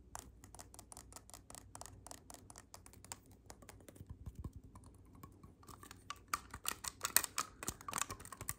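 Fingertips press and click the silver metal keys on a hollow black clarinet section. A rapid run of short, dry clicks with bright, crisp tops and almost no ring comes through, staying soft at first and growing louder and denser toward the end.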